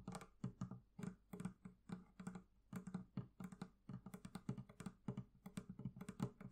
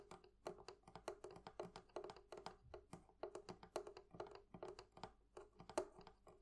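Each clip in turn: First: leather covering on a barrel chest. Second: metal fittings on a wooden chest.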